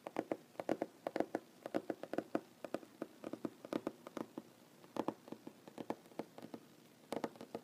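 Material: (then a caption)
Wood. Fingernails of one hand tap rapidly on a large solid wooden tabletop, making quick, quiet, dry clicks with a woody mid-range tone and almost no ring. The taps come in uneven bursts and clusters, with brief pauses between them.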